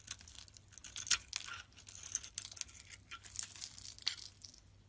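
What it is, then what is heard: Bar soap being shaved. A utility knife blade scrapes and shaves the outer layer off a solid, hand-sized, pink pearlescent oval bar of soap held in the palm, exposing its white interior. The result is a quiet run of bright, dry, crinkly scraping strokes with little low end. A few sharper crunchy peaks stand out along the way.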